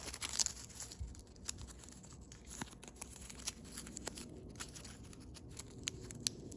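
A thin blue foil origami paper crane is folded, its neck and tail points creased and pinched with fingertips and thumbnails. Soft, bright crinkling runs throughout, broken by sharp, quick crackles and clicks that stop almost instantly.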